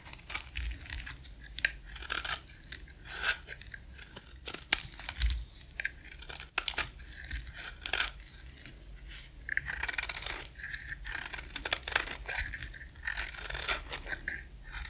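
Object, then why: Cream soap bar. A dry, solid cream soap bar is scraped along its edge with a box-cutter blade, giving a run of dense, crisp, crumbly scraping and tearing strokes. The strokes are bright and hissy with quick clicks, separated by short pauses, and there is a faint low rumble underneath.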